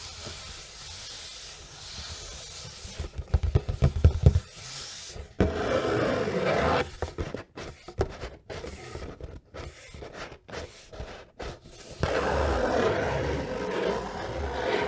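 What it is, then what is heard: Cardboard gift box. A large, rigid, hollow dark grey cardboard gift box with its lid closed is tapped and scratched on the lid and sides with long nails and fingertips. Soft, dull scratching gives way to a burst of quick, hollow taps, followed by steady raspy scraping. Then come short stop-start scratches with brief silences between them, and finally another stretch of continuous scratching.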